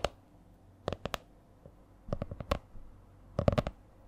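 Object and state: Hardcover spiral notebook.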